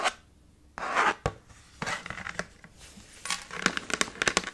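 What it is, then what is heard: Chalkboard slate with wooden frame. A small dark chalkboard slate in a red wooden frame rests on a table and is rubbed with knuckles, then scratched and tapped with short-to-medium fingernails. Bursts of dry, bright scraping and rubbing give way to quick, sharp taps and clicks that stop almost at once, with little low end.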